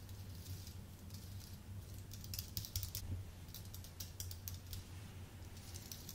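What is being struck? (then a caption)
Aluminium-based keyboard with plastic keys. Fingertips type on a full-size white Apple Magic Keyboard with an aluminium base and plastic keys, producing quick, bright key clicks in an uneven rhythm. The keys click over a steady low hum that runs through the clip.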